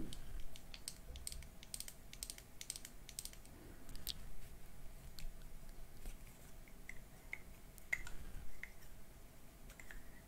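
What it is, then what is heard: Plastic lipstick case tapped with nails. Long manicured nails tap quickly and lightly on a small, hollow black plastic bullet lipstick case with lipstick inside, held in both hands, making quiet, crisp clicks. Near the end the case's cap is opened.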